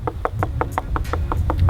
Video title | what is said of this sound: CE BAOBAB A 1400 ANS (Tulear - Madagascar) | ça sonne creux c'est du bois alors que les vrais bobab en fait c'est des plantes qui sont rempli d'eau